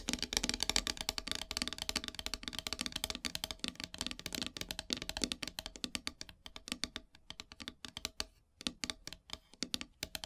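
Long silver nails tap rapidly on a flat, solid black painted wooden heart plaque, making a dense stream of bright, dry clicks with almost no ring. The tapping thins out toward the end into sparser bursts separated by short pauses.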